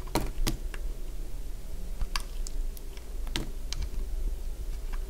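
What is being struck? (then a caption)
Bar soap cut with a metal blade. A metal blade cuts into a small, solid, cream-coloured piece of dry bar soap, producing a series of sharp, crisp crunches and clicks. Each snap is brief and bright, scattered irregularly over a steady low rumble.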